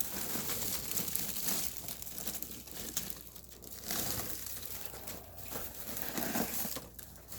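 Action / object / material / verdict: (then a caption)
scrape / dried radish greens / dried leaves / dry. Dried radish greens (siraegi) from Yanggu Punchbowl are handled and crumpled by hand, giving a continuous, bright, crisp crackling and rustling that swells and fades in waves. The crisp crackle shows the greens are thoroughly dry.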